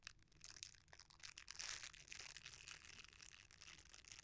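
A red silicone bristle scrubber is rolled, then flattened, as fingertips squeeze and rub it. The result is a soft, dense run of crisp crunching and crinkling with quick, overlapping ticks. The sound is almost entirely bright and high, with very little low end.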